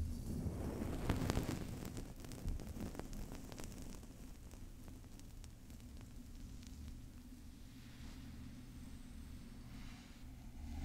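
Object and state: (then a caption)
Metal microphone grille. Long painted nails and fingertips scratch and tap the hollow metal mesh grille of a large silver Blue Yeti USB microphone up close. Quick, irregular clicks and taps ride over a dense, low rumbling scratch that is loudest early on, then settles into a steady, softer rasp.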